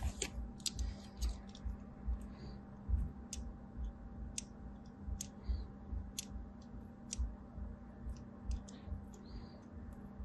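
A blade cuts further lines into the edge of a solid white embossed bar of soap already scored with diagonal lines. It makes a series of short, crisp, bright clicking scrapes at an uneven pace over a low, steady hum.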